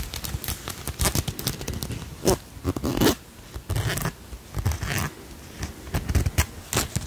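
A solid, palm-sized insect brooch of silver-tone metal with turquoise-colored stone wings and faceted blue stones is scratched and tapped with long nails while held close to the mic. Quick, irregular clicks and taps mix with brief bright scratching strokes that stop almost at once, carrying a low, close-up body throughout.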